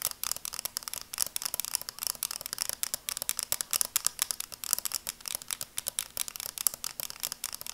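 A small pair of sunglasses with red plastic frames and dark lenses is held up in both hands while long dark nails scratch and tap along the frames and lenses. A rapid, steady run of crisp, bright clicks and light scratches with almost no low end, each tap dry and cut off instantly.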